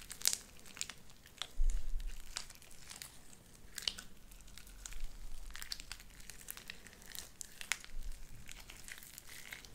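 Light-blue sticky slime with white beads is squished and pressed with fingers and palm. Quick, bright crackling pops and crinkly snaps ring out over soft, low squelching thumps, and a louder squish comes near the two-second mark.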